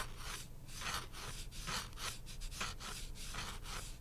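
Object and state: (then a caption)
Cardboard coaster. A thin printed pulpboard beer coaster, held in the hand, has its face and edge scratched with fingernails. Quiet, dry scratching strokes repeat in irregular bursts of bright, hissy rasping over a faint low hum.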